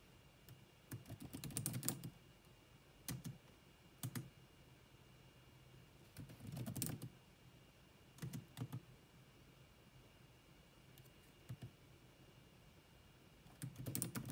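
Long manicured nails and fingertips type rapidly on the dark plastic chiclet keys of a grey laptop with a hollow body. Quick bursts of clicky taps with a hollow low thud and bright, short clicks come in irregular clusters separated by quiet pauses. A faint steady tone sits beneath the taps.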